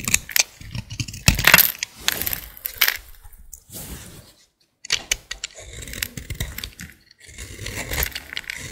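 A hand with long dark nails holds a dry, solid green bar of soap and scrapes it with a green-handled utility blade over a pile of shavings. Crisp, bright, crackling scrapes come in quick bursts with dry, short flakes, pausing into near silence for about half a second midway before the scraping resumes.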